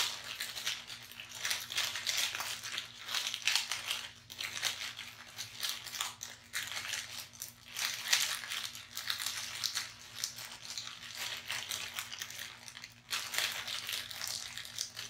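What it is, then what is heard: Plastic snack wrapper. A small purple foil-plastic candy bar wrapper, with the bar still inside, is held in both hands and crinkled and torn open by fingertips. It makes a dense run of bright, crisp crackling and crinkling that swells and fades in bursts, with short quieter pauses between them.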